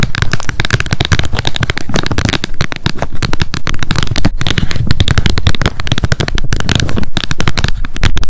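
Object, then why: Hard plastic flip lid of a wet wipes pack. Long nails tap rapidly on the hard plastic flip lid of a handheld wet wipes pack. The result is a dense, continuous stream of short, dry clicks with almost no ring, and most of the energy sits in a low thump beneath faint crackly highs.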